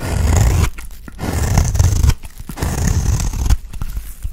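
A box-cutter blade shaves a round, solid dry cream soap bar, peeling off curls. Three long, dense scraping strokes are heard, each a low rough rasp with faint crackle, separated by brief quieter pauses. The recording ends in a softer scraping tail.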